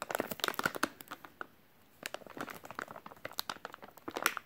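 A full, white soft plastic wet wipes package is crinkled and tapped with fingertips. It makes quick, bright crackling and crinkling bursts with little low end, centered around 1.4 kHz. A near-silent pause falls between about 1.5 and 2 seconds, then the dense crinkling resumes until the end.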